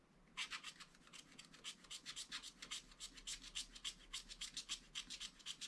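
A wooden stylus scratches continuously and densely over the orange fish area of a page of wax-coated scratch art paper. The result is quiet, rapid, bright rasping strokes, roughly three to four per second and uneven in rhythm, with almost no low end.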